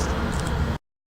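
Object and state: Nothing is struck.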